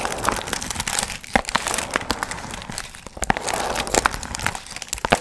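Long nails scratch and crinkle the gold foil fringe on a medium hollow paper pumpkin piñata held in both hands. The result is a steady, dense crinkling and rustling, with sharp, bright crackly snaps scattered throughout and very little low end.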